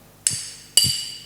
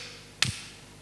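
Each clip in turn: First: iron piece intact after hammer blows. Second: wooden block intact after hammer strike.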